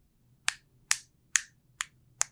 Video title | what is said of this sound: Galaxy Note 7 #1: Samsung's Exploding Phone - Tech Tales Podcast | When you tap the back, the front vibrates.